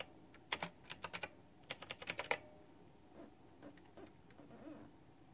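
Both hands type with fingertips and long nails on a white backlit plastic retro mechanical keyboard with round typewriter-style plastic keycaps. About twelve sharp, bright clicks come in quick bursts over the first two and a half seconds. Then fainter, softer taps trail off to the end.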